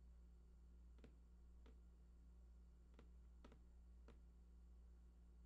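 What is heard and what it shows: Fingertips tap the right side edge of a large, hollow, printed cardboard PlayStation 4 box with unknown contents. Soft, dry clicking taps come at irregular intervals over a steady low hum.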